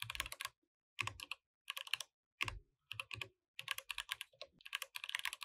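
Both hands type continuously with their fingertips on a compact mechanical keyboard with plastic keycaps, while the mouse stays idle. Quick runs of bright, clacky keystrokes come in bursts separated by short silent pauses. Each click is dry and dies away almost at once, with very little low end.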